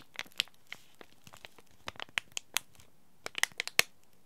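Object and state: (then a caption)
Plastic-foil tea bag packet. A small green laminated plastic-foil tea bag packet is held in both hands and crinkled and scratched by fingers and short nails. About 14 sharp, bright crinkles and crackles come in irregular bursts, each dying away almost instantly over a quiet background.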